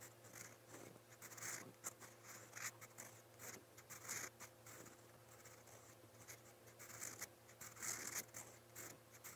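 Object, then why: Metal pen nib on a paper notebook page over a solid pad. A metal fountain pen nib scratches across a lined white paper notebook page resting on a solid pad while writing. Bright, dry scratching strokes come in uneven bursts over a steady low hum. Quieter gaps fall between the strokes.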